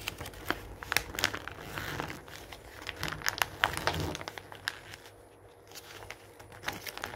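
A hand turns the pages of an open glossy paper magazine lying on a wooden table, then scrunches a page with its fingers. The result is a run of dense, bright crinkling and crackling with quick sharp snaps and soft papery rustles. A quieter pause comes near the end before a few last crackles.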